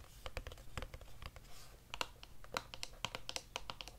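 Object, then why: Long narrow cardboard box. A long, narrow, hollow grey cardboard wand box is held in one hand and tapped with long nails along its flat side. The result is a quick run of soft, dry clicking taps with bright, papery edges that die away almost instantly, over a faint low background hum.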